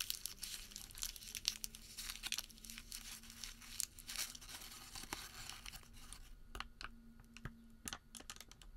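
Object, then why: Thin thermal paper receipt. Bare fingertips crumple a small, thin, heavily creased white thermal paper receipt, then spread it flat and tug it between both hands. The result is a quiet, dense, bright crinkling and rustling with sharp papery crackles and snaps over a faint steady low hum.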